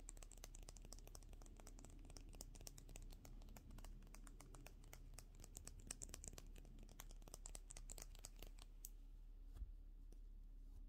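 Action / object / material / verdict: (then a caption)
tap / plastic and metal makeup brush handle / plastic / none. Long natural fingernails tap rapidly along a slim, hollow, pen-sized white plastic makeup brush handle with a metal ferrule and pink bristles, held in both hands. The taps are quick, dry and bright, with almost no ring, over a steady low hum. They thin out near the end, with one louder tap just before a quiet finish.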